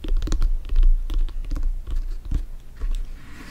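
Bare fingertips rub and scratch the top and sides of a full-size, inflated, hollow soccer ball with stitched synthetic leather panels. The result is an irregular run of short, dry scratching and crunch-like taps, each over a deep, booming low thump that dies away quickly.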